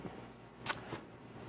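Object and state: Aerosol adhesive spray can rattling when shaken.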